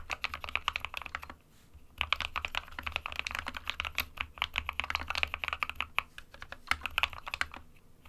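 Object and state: Plastic mechanical keyboard.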